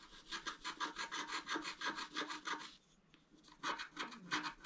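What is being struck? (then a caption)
Scratch-art card with black coating over foil, scraped with a wooden stylus. A wooden stylus scratches dense hatching strokes into a flat scratch-art card, black coating over colored foil, lying on a table. About 15 quick, rhythmic, bright rasping strokes are heard, with a short pause near the three-second mark before the scratching resumes.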